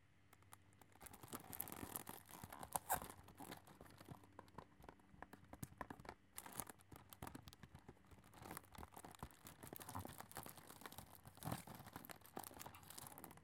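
A full, flat cardboard chocolate box in shrink-wrapped cellophane is held and turned in the hands while fingernails scratch and rub its plastic-covered surface. Dense, quiet crinkling and scratching build in uneven bursts with brief louder crackles.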